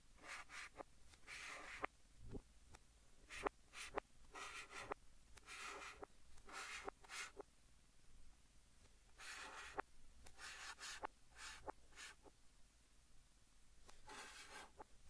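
A white chalk stick held in the fingertips writes English text on a large, flat green chalkboard, scratching across the board. Quiet bursts of bright, dry scraping strokes mix with short, sharp taps, separated by near-silent gaps.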